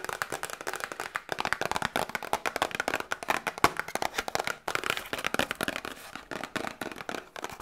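Long nails tap quickly on a small, hollow, printed cardboard Grippostad medicine box held in both hands. The result is a fast, uneven run of dry, papery clicks centered in the midrange around 1 kHz, with almost no low end and each tap dying away almost instantly.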